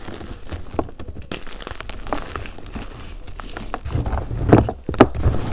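Hands crumble pink chunks of a dried gym chalk and cornstarch mudpie between their fingers in a container and rub them down to powder. Dense, soft crunching and crackling run throughout, dull and low with little brightness. A few louder crumbling crunches come near the end.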